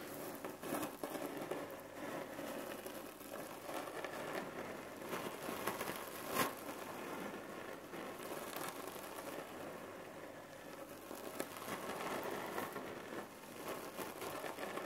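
Long nails scratch and tap a long red cotton neck pillow filled with cherry pits, lying flat. The result is a steady, dry crinkling rattle as the pits shift inside the fabric, with occasional sharper taps, one standing out clearly midway through.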